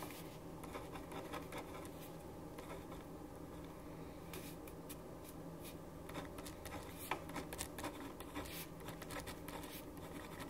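A black ballpoint pen writes lines of text on a white paper sheet resting on a wooden desk. Soft, continuous scratching of the pen tip on the paper is heard, with brief bright ticks and strokes over a steady low hum.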